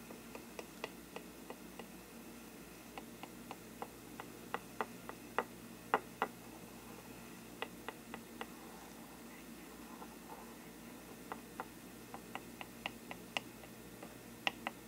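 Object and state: Parchment paper lampshade.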